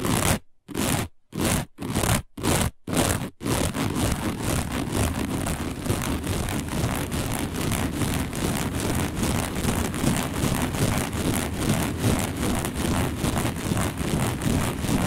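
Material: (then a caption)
Woven fiber. Long nails of both hands scratch fast and aggressively across a round, dark, coiled woven fiber placemat. Six short scratchy bursts separated by silences give way to continuous rapid scraping. The rough, crackly texture carries a strong low rumble and a bright hiss.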